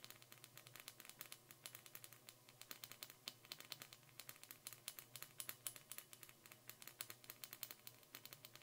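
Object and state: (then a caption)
Clear glass Christmas ornament ball. Long painted nails tap and glide over a small, hollow, empty, clear glass Christmas ornament ball with a metal cap, held in both hands. A quiet, rapid stream of short, bright clicks and ticks fills the clip, each dying away almost instantly. A faint, steady low hum runs underneath.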